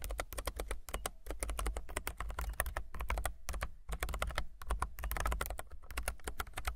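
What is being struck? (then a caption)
Low-profile mechanical keyboard with plastic keycaps. Long silver-painted nails type on a low-profile mechanical keyboard with a metal-gray frame and white and gray plastic keycaps. The clip is a fast, steady stream of short, crisp clicks with a soft low thump beneath them, broken only by brief pauses.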